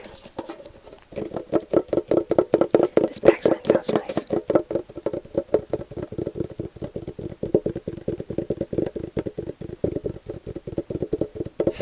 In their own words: And this tin is hollow. It's hollow.